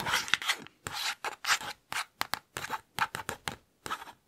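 Fingertips and nails trace and scratch quickly across the glossy printed paper page of an open children's picture book held beside the mic. Short bursts of dry, bright rasping and rubbing come in rapid succession, separated by brief silences, with almost no low end.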